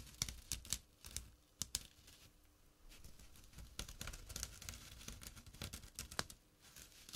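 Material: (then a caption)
Jute. A small, flat, empty jute burlap drawstring pouch lying on dark cloth is scratched with short fingernails and fingertips. The result is dry, bright, crackly scratching in quick, uneven bursts, with a few sharper rasps standing out over a soft, rough texture.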